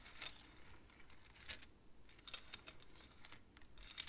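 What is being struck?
Wooden abacus with wooden beads on metal rods.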